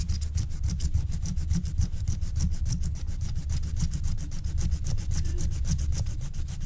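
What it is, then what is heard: Wax-coated scratch-art card being scratched. A wooden stylus scratches the black wax coating of a flat, thin scratch-art card in rapid, repeated short strokes near the top, while a long-nailed hand holds the sheet down. The result is a steady, dense train of dry scraping strokes, each with a bright, hissy edge over a heavy low rumble.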